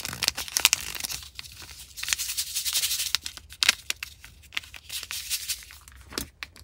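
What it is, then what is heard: Plastic foil drink mix sachet. A small Liquid I.V. drink mix stick packet in plastic foil, appearing full of powder, is held in the hand and squeezed, crinkled and shaken by fingers with long nails. Bright, dense crinkling and rustling comes in quick bursts, with the powder shifting inside and almost no low end.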